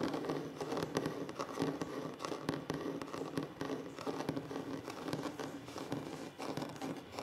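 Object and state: Wooden tabletop tapped and scratched.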